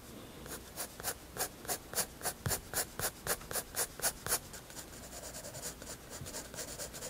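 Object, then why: Graphite pencil on paper sketchbook page. A graphite pencil draws strokes on a white paper sketchbook page, scratching the paper surface. A quick, regular run of bright, raspy strokes, about four per second, gives way to softer, continuous scratching.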